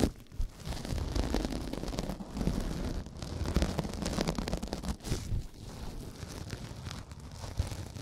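A rectangular pink porous synthetic kitchen sponge, soft and solid, is held in both hands right at the microphone while fingertips squeeze and rub it. The result is a close, muffled, bass-heavy crackling and crinkling rustle with uneven surges and a few sharper bursts. It stays dense and low throughout, with little brightness.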